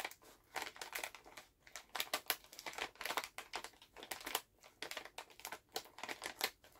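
Both hands hold a full Halls resealable plastic cough drop pouch while fingertips and nails squeeze, crinkle and tap the bag. Quick, bright crinkling bursts come one after another at uneven intervals, each dying away almost at once, with no low-end weight.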